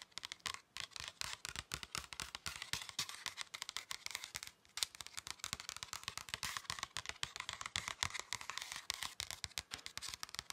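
Fingernails scratch and fingertips tap across the flat surface of a thin red paper or card pocket folder. The result is a dense run of quick, dry, bright scratches and taps that die away almost at once, with a brief quieter pause near the middle.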